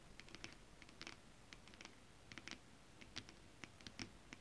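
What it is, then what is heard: Holographic scale-printed fabric. Long acrylic nails tap rapidly on a flat sheet of shiny holographic mermaid-scale-printed fabric and scratch it with both hands. Quick bursts of light, crisp, bright clicks come in uneven clusters over a soft scratchy hiss. Each tap dies away almost instantly.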